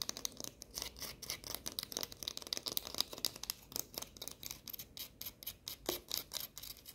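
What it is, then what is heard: Fortune cookie. A small, crisp, hollow baked fortune cookie, held in the fingers, is tapped and scratched rapidly with long painted nails. The result is a fast, quiet series of dry, bright clicks and scrapes, high-pitched and with no lingering ring.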